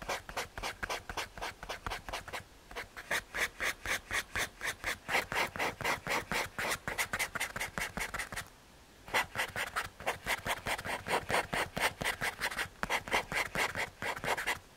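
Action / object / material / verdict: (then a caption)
scrape / paper blending stump rubbed on graphite over an MDF board / MDF / none. A paper blending stump is rubbed back and forth over a graphite drawing on a small, flat, solid brown MDF/hardboard drawing panel. It makes a steady run of quick, dry, bright rasping strokes, with brief pauses near the start and middle. Each stroke stops short with almost no ring.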